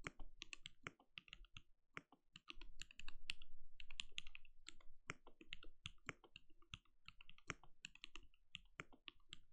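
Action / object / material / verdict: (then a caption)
tap / mechanical keyboard with plastic keycaps / plastic / none. A compact RGB-lit mechanical keyboard with a translucent plastic case and plastic keycaps, resting on a desk, is typed on steadily with the bare fingertips of both hands. The result is a quick, uneven stream of short, crisp, bright clacks that die away almost instantly, over a faint low background rumble that swells for a stretch in the middle.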